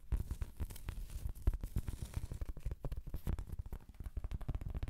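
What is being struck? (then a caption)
Round cork trivet. A large, thin, solid round cork trivet is held up and scratched with long, pointed acrylic nails. A steady stream of quick, dull scratching and crackling sounds is heard, muffled and heavy in the low end with almost no brightness.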